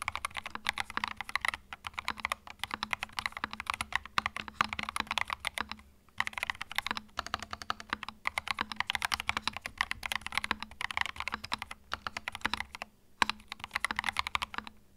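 Fingertips type continuously on a compact white mechanical keyboard with a white case and plastic keycaps. The result is a fast, dense stream of short, bright clacks with almost no ring, broken by brief pauses around six and thirteen seconds.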